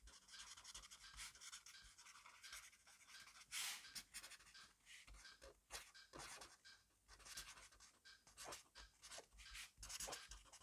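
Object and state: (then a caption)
Pen scribbling on a paper notebook. A black pen scribbles fast across a grid-paper notebook page resting on a desk. Its tip scratches out a rapid string of dry, bright strokes with brief pauses, and a few harder, louder scrapes stand out.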